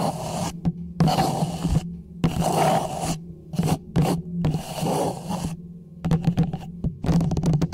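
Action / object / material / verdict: scrape / small plastic traffic cone / plastic / none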